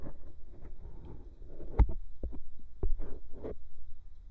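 The tip of a bamboo ear pick scratches around the hollow canal and rim of a white silicone binaural microphone ear. Close, dry scraping and rustling sits over a deep, throbbing low rumble, with brief sharper scratches standing out now and then.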